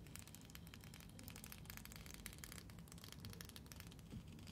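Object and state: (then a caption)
Plastic comb. Long fingernails run and scratch along the teeth of a long, solid neon-green plastic hair comb held in both hands. The result is a dense stream of quick, bright ticks and crackles over a steady low rumble.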